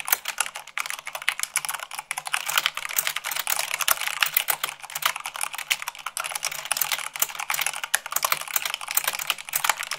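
Fast typing at about 98 words per minute with fingertips and long nails on a mechanical keyboard with white plastic keycaps on a black base. A dense, continuous stream of sharp, bright, clicky clacks with very short decay, steady throughout.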